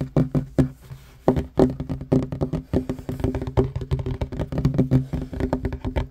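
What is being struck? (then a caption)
Wooden table top. Fingertips and short nails of both hands tap fast on a flat, solid wooden table top. The result is a rapid, uneven run of short, dry, low knocks with a faint woody tone and almost no ring, with a brief pause near the start.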